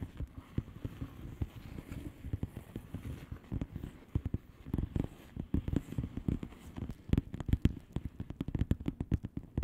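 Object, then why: Plastic bubble wrap envelope. Long polished nails of both hands tap rapidly on the bubbles of a flat, hollow plastic bubble-wrap mailer lying on a surface. Dense, quick, dull taps with a low thud and almost no ring quicken and grow sharper toward the end.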